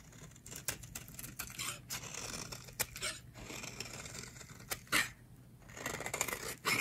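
A metal blade scrapes fine shavings off a solid, hand-sized, white oval bar of dry soap held in the hands. The result is a run of crisp, bright scraping strokes, with sharp rasping bursts over a faint low hum.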